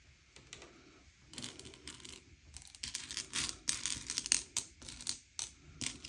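Fingertips slide and push a pile of small, hard, sugar-shelled M&M's candy-coated chocolates around a grey plate, sorting them by colour. Irregular bursts of bright, dry clicking and rattling come as the candies knock and scrape against each other and the plate. Each click dies away almost instantly, with brief quiet gaps between pushes.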